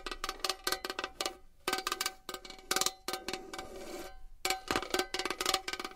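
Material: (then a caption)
Metal. A metal box is tapped and scratched with fingernails. Quick bursts of bright, clicky metallic taps, each with a short ringing tone, are broken up by a softer, hissy scratching passage before the tapping resumes.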